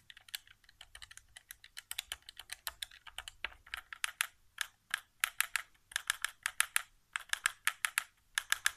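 Fingertips tap the buttons and thumbsticks of a white, hollow plastic PS4 controller resting on carpet. The taps are quick, dry and bright plastic clicks with no ring, coming in an irregular stream. They start softer and denser and grow louder and more clearly spaced in the second half.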